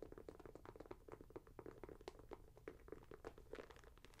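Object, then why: Leather and mesh sneaker. Long nails scratch and fiddle with the leather and mesh upper and laces of a red, grey and white Nike Air Max 90 sneaker, hollow and empty and held up in the hand. The sound is a quick stream of soft, dry, crackly scratches and taps with a low-mid body and brief bright flecks, each one dying away almost at once.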